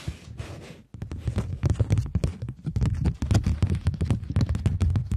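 A polymer plastic £20 banknote is folded or rolled in the fingers while long nails rub and scratch along its surface. A soft, breathy hiss fades into a brief silence, then gives way to a quick, uneven run of dull crinkles, taps and scratches. The sounds are heavy in low thumps and die away almost instantly.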